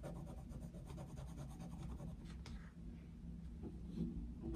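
The tip of a coloured pencil scratches across the thin paper page of an open colouring book lying flat on a desk, shading in continuous strokes. The result is a quiet, steady, low-weighted scratchy rubbing with a rhythmic back-and-forth texture and a slightly louder stroke near the end.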